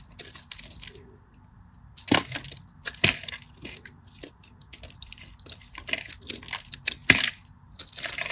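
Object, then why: Bar of soap. A metal craft knife slices shallow lines and shavings from a solid cream bar of soap held in the fingers. Quick, dry, bright scratching and cutting strokes come in irregular bursts, with a few sharper louder scrapes. Each stroke stops almost instantly with no ring.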